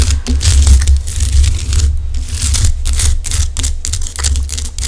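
Long acrylic nails on both hands scratch and tap the rough surface of a large, solid pink Himalayan rock-salt lamp. Bright, gritty scratching and clicking bursts come in quick, overlapping flurries over a steady, heavy low rumble.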